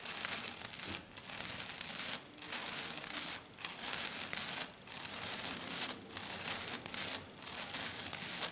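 Long dark nails on both hands scratch fast and hard across a flat silver glitter foam sheet. The result is a dense, bright, crinkly rasp in rough bursts, broken by several short pauses.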